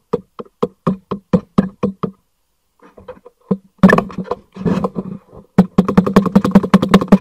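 Fingertips tap and knock quickly on the side of a black cardboard packaging box held upright. Nine crisp, separate taps open the clip, followed by a pause and some softer, scattered taps. Louder, denser knocking then builds into a fast, even run of short, dull, hollow thuds that end abruptly with almost no ring.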